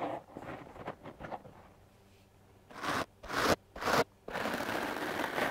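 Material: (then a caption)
Foam. The stiff bristles of a wooden clothes brush are swept across a foam microphone windscreen in fast, scratchy strokes. Soft, quick brushing at the start gives way to three louder, separated bursts of coarse, bright scratching, then to a steady, continuous scrub through the end.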